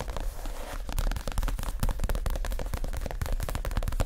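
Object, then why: Padded leather chair cushion. Fingertips and short nails of both hands tap quickly on a soft, stuffed white leather (possibly faux) padded chair cushion. The result is a rapid, uneven run of dull, low, muffled thumps that die away almost at once, with light clicky ticks on top.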